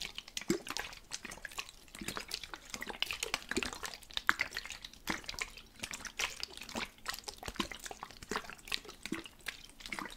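A plastic spray bottle with water inside is shaken steadily, and the liquid sloshes back and forth in a dense run of quick, bright splashes with very little low end. The short wet bursts come close together with almost no ring.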